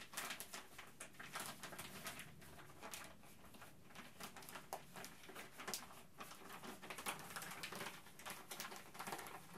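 A thin, empty, clear plastic bag is held up in both hands and crinkled and rubbed between the fingertips. The result is a steady, quiet stream of dense, bright crackling and rustling, with many overlapping sharp crinkles that swell and fade throughout.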